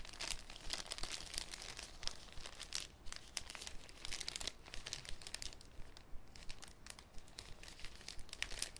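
A thin, clear cellophane sheet is folded and crinkled with fingertips over a wooden table. Dense, irregular bright crackles and crinkles snap and fade quickly over a steady low background hum.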